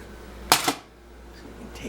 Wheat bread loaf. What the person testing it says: tap the top it's got a nice Hollow sound